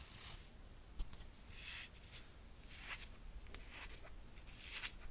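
A single red slide sandal with red suede straps, a gold metal buckle and a cork footbed is held in the hand while long painted nails tap and scratch the straps and footbed. Soft, bright, brushing scratches come in repeated swells over a low rumble, with a few quick taps standing out.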